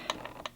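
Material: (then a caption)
Plastic. A spur gear is wiggled against a clutch bell pinion after the motor has been shifted over, giving four short, light plastic-sounding knocks with a bright tick around 1 kHz and almost no ring. The small knock shows a slight, correct amount of backlash in the gear mesh, quieter than before.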